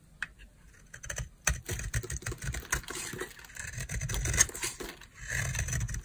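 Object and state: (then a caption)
Dry bar soap. A utility knife blade scrapes and carves a solid green oval bar of dry soap held in the hand, cutting it into crunchy flakes. A dense run of bright, crackly scraping and crunching is heard, with soft low thuds underneath and short, dry pauses between strokes.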